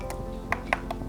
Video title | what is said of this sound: [FULL] Kompas Gorontalo Sabtu 29 Maret 2025 | kalau kita ketuk ini memang bunyinya bunyinya seperti emang batu